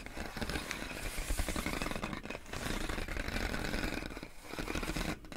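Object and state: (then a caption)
Plastic air column packaging. Long acrylic nails tap and scratch clear inflated plastic air column wrap around a pink box. The result is a dense, continuous stream of crinkly rattling and scraping with a heavy low thud under bright plastic crackle, easing briefly before the end.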